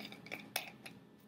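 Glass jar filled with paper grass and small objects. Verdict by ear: Loose.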